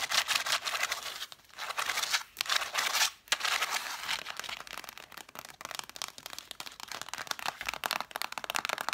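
Long nails tap and scratch the red cloth spines of a solid stack of cloth-bound hardcover books, spines facing out. Bright, dry scratching rasps with short pauses give way to a run of fast, crisp taps, all thin and high with no low end.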